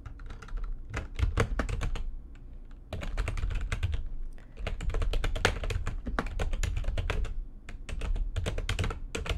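Fingertips with long nails type fast on the keys of a full-size, low-profile, backlit plastic computer keyboard resting on a desk. The result is dense bursts of quick tapping clicks with a deep, thumpy low end and bright edges. Brief lulls break the bursts at about 2 and 4.5 seconds.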